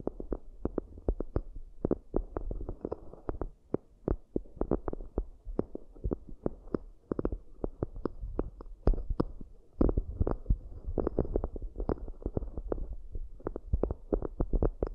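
Long nails tap and scratch the rims of two round, shallow, hollow cork coasters with microphones inside them. Quick, soft, hollow thumps heavy in the low end come in dense, uneven bursts over a faint scratchy hiss, with little high-end content.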